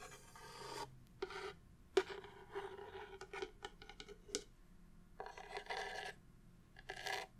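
A wooden, vintage book-style tissue box cover is handled and tapped. Brief rasping, scratchy rubs alternate with a run of sharp, dry taps and light clicks that die away almost at once.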